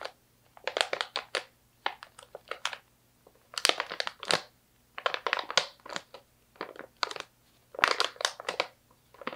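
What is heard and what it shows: A medium stand-up plastic snack pouch, partly full of slivered almonds, is crinkled and squeezed by fingertips with long nails. Bursts of sharp, bright crinkling and crackling come in quick clusters, separated by brief near-silent pauses, with no low rumble.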